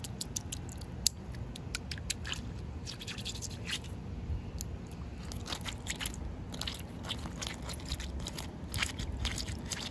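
Short painted fingernails and fingertips scratch and tap the rough surface of a large, solid outdoor concrete slab that is partly wet with puddles. Quick, dry, bright clicks and scratchy crunches come in an irregular stream over a low, steady rumble, with one sharper tap standing out near the start.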